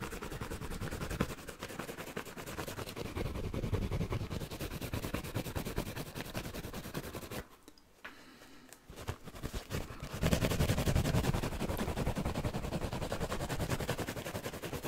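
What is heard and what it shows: A hand-sized yellow foam sponge with a green scouring pad on one side is held in both hands close up, scratched rapidly with fingertips and nails, then squeezed and rubbed. It makes a dense, fast, uneven crackling scratch with a heavy low rumble. The scratching briefly drops to near quiet around the middle, then comes back louder toward the end.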